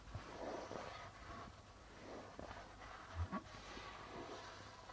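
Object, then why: Darbuka drum with plastic drumhead. Fingertips rub and tap the white plastic membrane of a hollow, red-bodied darbuka drum, making a quiet, steady scratchy rustle over the drumhead. Two soft, low thuds stand out near the end before the gentle rubbing continues.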